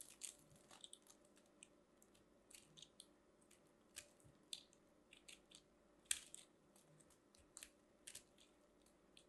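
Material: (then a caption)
Soap. A metal craft knife carves and scrapes a small orange and white ball of compressed soap shavings, solid and crumbly and held in the hand. About eighteen quiet, bright, crisp crunches and scrapes come at irregular intervals, each dying away almost at once over a faint low background hum. Crunchy flakes are cut off the ball.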